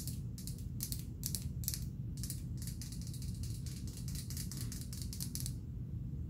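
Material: Glass.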